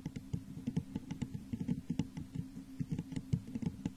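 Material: Glass.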